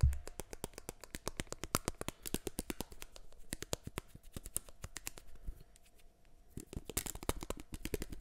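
Fingertips tap and scratch the rims and arms of a small, solid black plastic eyeglasses frame held close to the mic. Rapid, crisp clicks and light scratches with a soft low rumble follow one another closely throughout. The taps briefly grow quieter and sparser, then return louder toward the end.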